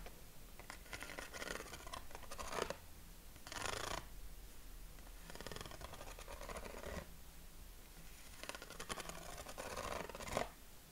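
Short fingernails scratch the ribs of a yellow corrugated craft paper sheet, about 20 cm square, held against the chest. Dry, rasping bursts of bright scratching come in several separate passes with quiet gaps between them. A low background rumble stays underneath throughout.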